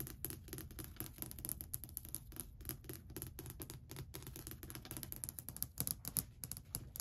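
Long white acrylic nails tap and scratch near the front edge of a long, solid varnished wooden shelf ledge. Rapid, dense clicking taps with bright, crisp highs ring over a low, soft thump, mixed with light scraping, and each tap dies away almost instantly.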